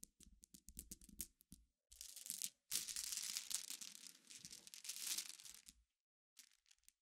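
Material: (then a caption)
Glass. Fingernails scratch at a dense pile of glass pebbles resting on black fabric, producing a quick run of short, bright clicking scrapes. Both hands then stir the gems in a continuous, hissy clatter that rises and thins for several seconds. It falls silent before a few final light clicks.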